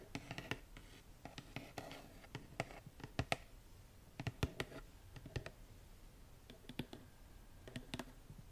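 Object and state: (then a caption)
Cardboard gift box. Long acrylic nails tap and scratch the lid of a small, hollow, printed cardboard Birchbox box with a floral pattern, held in hand. Quick, dry clicks and sharp taps stand out over a soft scratching rustle, each hit dying away almost at once. The sound stays quiet throughout.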